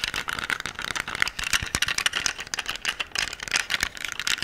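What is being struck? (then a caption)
Metal handgun. Nails and fingertips tap and scratch the grip and slide of a solid black metal pistol held upright close to the microphone, with the gun's parts rattling. A dense run of quick, dry, bright clicks and scrapes fills the clip with almost no low end and no ringing.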